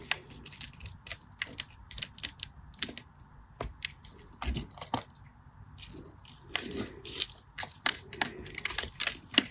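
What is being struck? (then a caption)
Cream bar soap. A solid beige cream bar soap is carved with a craft knife, sending cubes breaking off. Many sharp, bright scratching and cutting clicks come in quick, irregular bursts, each crisp and dry with no ring, over a faint steady hiss.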